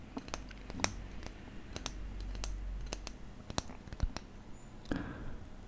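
A thin, flat, solid wooden spatula, held upright in one hand, is tapped and scratched with fingertips and nails close to the microphone. Irregular, sharp, dry clicks and taps with bright edges ring out over a quiet, low rumble, with soft scratching between them. Each tap dies away almost instantly.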